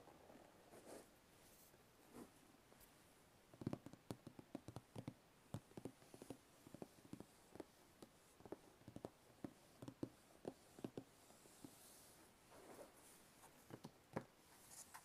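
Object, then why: Cardboard box with lid. Fingertips tap the top of a medium, hollow white cardboard box, likely a shoe box with a lid, then the box is lifted and tapped by hand. The result is a quiet, irregular series of short, dry, hollow knocks with a low body and almost no ring, separated by soft rustling.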